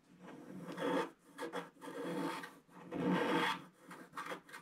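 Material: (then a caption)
Coated paper. A wooden stick scrapes across the wave areas of a flat sheet of scratch-art paper, making dry, raspy rubbing strokes. The strokes come in uneven bursts that swell and fade, with a midrange scratchy texture and quiet gaps between them.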